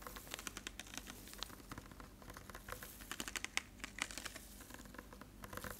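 A clear PET water bottle with a green label and white cap, hollow and partly filled with water, is held in the hand and tapped and crinkled with fingertips and nails. Dozens of quick, light, bright clicks and crinkles patter irregularly over a steady low background hum. Each tap stops almost instantly, with a few sharper, higher-pitched ticks standing out midway.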